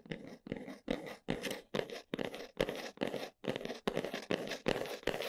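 Long nails scratch and tap across the folded flaps of a brown cardboard box in about thirteen short, separate bursts. Each stroke is a dry, papery rasp, fullest in the low-mids and reaching up into bright, high hiss, with brief silences between strokes.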